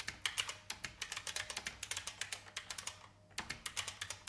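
Fingertip typing with both hands on a vintage beige IBM mechanical keyboard with plastic keys. A steady run of sharp, bright clicks with very short decay comes in an uneven rhythm, broken by a brief pause near the end before the typing resumes.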